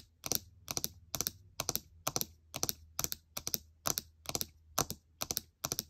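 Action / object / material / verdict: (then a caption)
tap / laptop keyboard with plastic keycaps / plastic / none. Long nails rapidly tap the plastic keycaps of a gold MacBook Air laptop keyboard. The bright clicking comes in about a dozen quick clusters of two or three taps each, with a faint low hum underneath.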